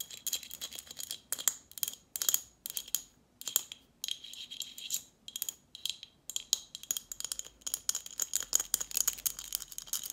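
A partly full Snapple glass bottle with a metal cap and plastic label is tapped and scratched with long nails. Quick bursts of sharp, bright clicks and scratchy ticks come in uneven flurries with short gaps, each tap dying away almost instantly. The sound sits almost entirely in the high range, with a faint glassy ring and almost no low end.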